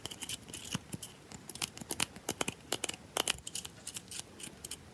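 Long nails scratch and tap fast and aggressively along the edges and face of a solid bar of soap held in the hand. A rapid, irregular run of sharp, dry clicks and brief scrapes sounds bright and crisp, with a recurring tone near 2.8 kHz and almost no low end. Each hit dies away instantly over a faint background hiss.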